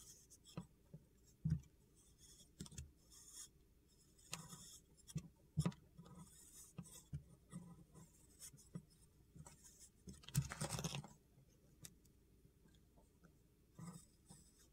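A long metal utility knife blade scrapes along the edge of a solid blue chunk of soap held in the hand, making a series of short, soft, gritty scraping strokes with a low, muffled body. One longer, louder scrape near the end adds a bright, hissy rasp before the strokes go quiet again.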